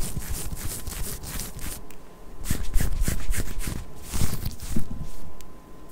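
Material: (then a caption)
Cotton knit. Long nails scratch and rub across a pink ribbed knit cotton long-sleeve top being worn over the torso. Repeated bright, rasping strokes swell and fade, with soft low thuds beneath them and a faint steady hum throughout.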